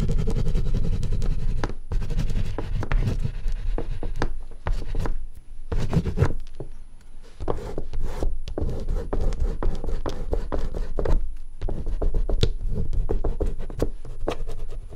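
Fingertips rub and blend oil pastel across a sheet of thick artist's paper lying flat on a table, with no pastel stick in hand. A steady, low, dry rubbing runs throughout, broken by many quick scratchy strokes and a few brief pauses.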